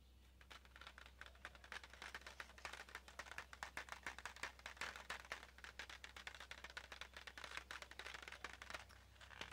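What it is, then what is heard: Clear plastic nail tray. Long nails tap rapidly on a small clear plastic blister tray holding press-on nails, making a dense run of sharp, bright plastic clicks centred around 1.8 kHz. The taps are quick and closely spaced with very short ring, over a faint steady low hum.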